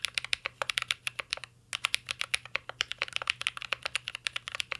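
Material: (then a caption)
Plastic. Fingertips type steadily on a mint-green Cyberboard R3 mechanical keyboard with plastic keycaps and a metal case, giving about 36 sharp, bright key taps. The taps are crisp, clacky clicks centered around 2.4 kHz with almost no low end, each dying away instantly, with a brief pause near the middle before the typing picks up again.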